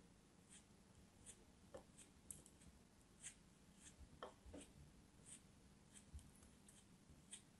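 A solid lump of blue kinetic sand, held in fingertips with long nails, is cut with a small knife. Quiet, dry crumbling scratches and soft cutting ticks sit over a low background rumble, with brief bright clicks spread across the clip.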